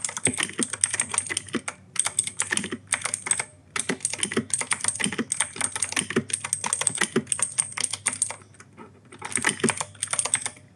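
Fingertips type continuously on an E-Yooso K-620 mechanical keyboard with clicky Outemu Blue switches and grey and white plastic keycaps. Rapid, sharp, bright clicks arrive in dense bursts with brief pauses between them, each keystroke dying away almost instantly.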